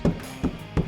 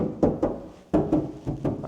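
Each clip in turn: First: van door panel with sound deadening, damped. Second: hollow, untreated steel van door panel.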